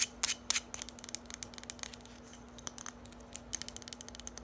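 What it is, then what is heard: Hollow hard plastic bottle. Long nails tap and scratch a small, hollow, lime-green hard plastic bottle as it is turned in the hands. The clip opens with a few louder, sharper taps, then settles into fast, uneven, bright clicking and scratching with very short decay. A faint steady low hum runs underneath.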